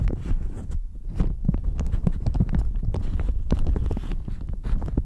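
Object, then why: Thin plastic shower cap. A thin, crinkly, pink-flowered plastic shower cap is crumpled with the fingertips, then wrapped around the microphone and squeezed. It makes a steady run of dense, close crackles and rustles with heavy low-end thumps and brief bright snaps. The crinkling continues without pause for the whole clip.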